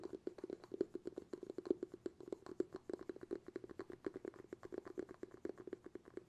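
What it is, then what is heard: Glass jar with bamboo lid. Fingertips rapidly tap the bamboo lid of a glass jar held in both hands. The result is a quick, uneven stream of short, soft, dull taps centered around 360 Hz, each dying away almost instantly.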